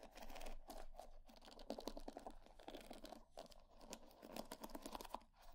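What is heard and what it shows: A wooden hair brush is held face up while long nails scratch and flick across its wooden pin bristles. The result is a steady run of quick, dry clicks and scratchy rattles with a woody midrange body. The flicks come in dense bursts that rise and fall in loudness.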